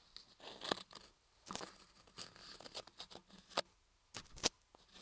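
A thin wooden ear pick, held in the fingers, scratches and scrapes inside the canal of a hand-carved block of pale laundry soap shaped like an ear, which sits over the microphone while another hand steadies it. Quiet, dry, bright scraping and crinkly scratching come in irregular bursts, with sharper clicks now and then.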